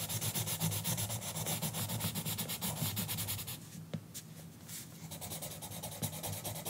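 A green colored pencil rubs and scratches across the page of an open paper coloring book lying flat on a counter, while the other hand holds a bundle of pencils still on the book. Rapid, rhythmic scratchy strokes with a bright, papery hiss run for about three and a half seconds, then ease into softer, quieter rubbing before picking up again near the end.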